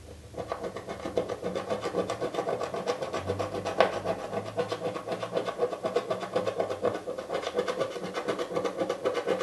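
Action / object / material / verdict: scrape / cardboard box lid with scratch-off foil coating / cardboard / none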